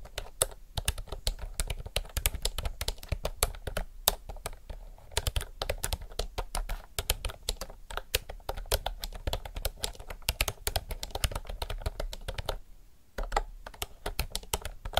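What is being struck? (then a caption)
Mechanical keyboard with round plastic keycaps. A retro mechanical typewriter-style keyboard with round plastic keycaps is typed on fast with the fingertips of both hands. The result is a dense, continuous stream of sharp clicky keystrokes with a thumpy low end and bright clacks, pausing briefly near the 13-second mark.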